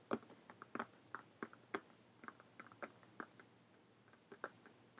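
Long painted fingernails tap quickly on a closed purple cloth-covered hardcover notebook lying flat. Around eighteen short, dry, clicky taps come in an irregular rhythm, some louder than others. Each tap is crisp and dies away almost instantly.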